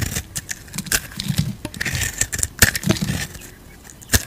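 A utility knife blade scrapes the surface of an oblong, solid pale-yellow soap bar held in the palm, removing shavings. A series of short, crisp scraping strokes and bright crackles is heard, with soft low thumps beneath, ending on one sharp, louder scrape.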